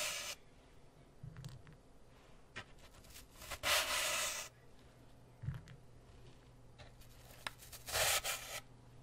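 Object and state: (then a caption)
Floral foam block. Fingertips rub and scratch the top surface of a brick-sized grey floral foam block, solid and porous, held beside the mic. Bright, dry, hissy scraping comes in short scratches and two longer, louder rubbing bursts, separated by quiet gaps over a faint low hum.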